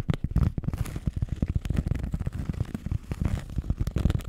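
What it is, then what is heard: Cork pad scratched with nails. A flat, solid, round cork disc held over the mic is scratched with long nails. It makes a dense run of short, dry, crackling scrapes that sit almost entirely in the low, bassy range. Each scrape dies away instantly.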